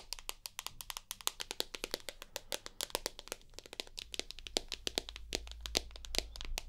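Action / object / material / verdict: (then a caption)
tap / smartphone with glass screen and aluminium body / glass / none. Long nails rapidly tap and scratch the glass screen of a rose gold iPhone with an aluminium body, white glass front and home button. Dozens of crisp, bright clicks each die away almost instantly, with a faint scratching rasp between them. A steady low hum underneath grows louder after about four seconds.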